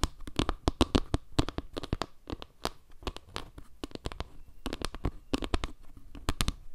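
Long nails scratch and tap across a round wooden log-slice panel, moving between its dark center tiles and the surrounding wood slices. Quick, dry clicks and scraping strokes come in a rapid, uneven stream with a soft low body and bright tips, and each tap dies out almost instantly.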